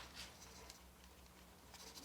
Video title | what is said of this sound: Aukey GM-F2 Gaming Mouse & KM-P6 Mouse Pad Review | no rattles so pretty solid in terms of the build quality there are a lot of mice out there that rattle and this ain't one of them